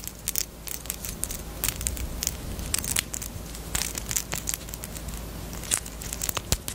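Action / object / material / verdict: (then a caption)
tap / small hard plastic chapstick case / hard plastic / none. A small, pink, hard plastic Peep bunny-shaped chapstick case, closed and hollow, is tapped and scratched with long nails. The result is a dense run of crisp, bright clicks and scratchy crackling over a steady low hum, with each tap dying away almost instantly.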